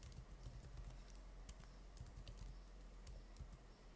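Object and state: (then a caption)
Laptop keyboard typing. Fingertips type rapidly on the plastic keys of an open laptop keyboard, the hands staying on the keys the whole time. Dense, quiet key taps come as short, bright clicks over a steady low hum, each dying away quickly.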